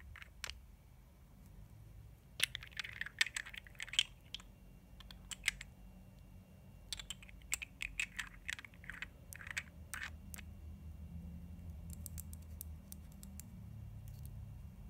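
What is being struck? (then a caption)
Small glass jar with plastic lid. Long nails tap and click on a small glass cosmetic jar and its black plastic lid as the jar is turned in the hands. Irregular clusters of sharp, bright taps and rubbing clicks come and go over a low, steady background rumble, each tap dying away almost instantly.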